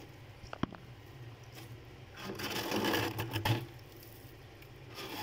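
Fingertips with red-painted nails scratch and scrape a thick, fluffy layer of frost and ice built up into a solid mass inside a freezer. A few sharp clicks come early, then a louder stretch of gritty, crunchy scraping swells in the middle before easing back to a soft, faint rustle.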